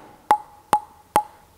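A table tennis ball strikes a light, fast Dynamic JC wooden table tennis blade with synthetic fibers four times at an even pace. Each hit gives a short, hollow click centred near 840 Hz that dies away quickly. The blade sounds very hollow and vibrates strongly.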